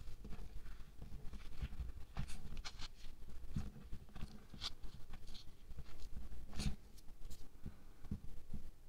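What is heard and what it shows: Fingers and fingertips press, dig into and squeeze pink kinetic sand in a round clear plastic tub, making soft, continuous crunching with brief bright crackles over a low, muffled rumble. The sand packs down under the pressure.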